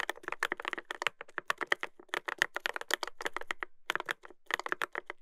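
Fingertips type continuously on a Dolphin 2021 mechanical keyboard with a brass plate and plastic keycaps. The result is a quick, uneven run of crisp, clacky keystrokes that peak around 2 kHz with little low end. Each click dies away almost instantly, with brief pauses between bursts of typing.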